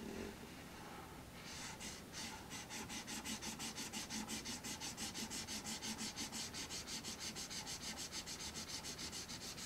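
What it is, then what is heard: Black paper sheet. A marker tip is rubbed hard across a thin sheet of black paper lying on a wooden tray, in rapid back-and-forth shading strokes. After a quieter first second or so, bright, scratchy swishes set in and repeat at a fast, steady pace of about three strokes per second until the end.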